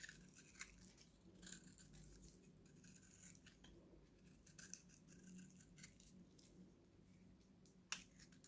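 A steel utility knife blade scrapes and cuts a dry, solid, hand-sized oval purple Nivea bar soap held in one hand, shaving off dry flakes. Quiet, bright, crisp scratching and ticking shavings run throughout over a low steady hum, with a few sharper crackles and a loud snap near the end.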